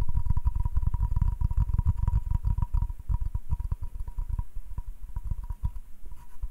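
Fingertips and nails rapidly tap and scratch the surface of a flat, solid butcher-block hardwood cutting board held in the hand. The result is a dense, irregular run of soft, dull, low taps with short scratchy bursts over a faint steady tone. The tapping is busiest and loudest at the start and grows lighter and sparser toward the end.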